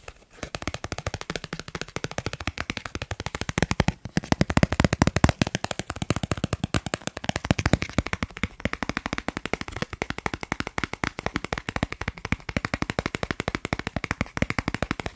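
A thin, solid dark blue plastic Snipes gift card of credit-card size is held in one hand close to the microphone and rapidly tapped and scratched with fingertips and short nails. A dense, continuous stream of sharp, dry clicks and scratches runs throughout with almost no ring, carrying a low body and little high-end brightness.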